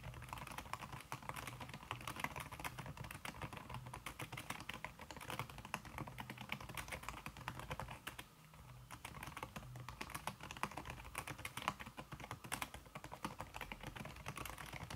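Fast typing with fingertips and long red-painted nails on a thin backlit aluminium keyboard whose plastic keys sit under a red silicone skin. It makes a dense, continuous stream of soft, quick tapping clicks with a dull low thump and a bright edge. The clicks run together almost without pause, with one brief lull near the middle.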